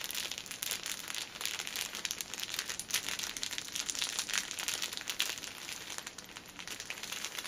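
Long nails scratch and tap the top and sides of a plastic-wrapped six-pack of paper pocket tissues standing on a table. The crinkly film gives a steady, bright, dense crackle of rapid small scratches and taps with almost no low end.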